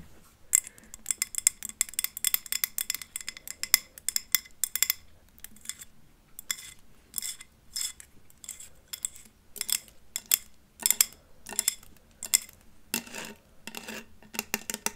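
Long acrylic nails fitted with plastic-coated paper clips tap and scratch the glass sides of a medium, labeled glass jar candle filled with solid orange wax, held in hand next to the microphone. Rapid bursts of bright, high clicks and clinks come in quick flurries with short pauses between them. Each hit is sharp and dies away almost at once, with very little low end.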